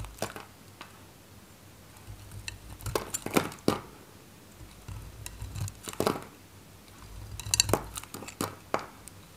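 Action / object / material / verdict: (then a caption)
scrape / bar of soap cut with a metal knife / soap / none. A solid, faceted bar of dry green soap is held in the fingers while chunks are cut off it with a metal craft knife. The clip is quiet, with short, dry, crisp cuts and crackles that come in loose clusters. A few brighter clicks have a slight clinking edge, and they die away almost at once.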